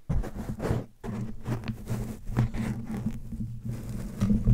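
Fingertips and nails tap and scratch the soft, porous surface of a black foam windscreen on a handheld microphone held in both hands. The result is a dense run of muffled, bassy thumps with soft scratchy rustle between them and almost no high end.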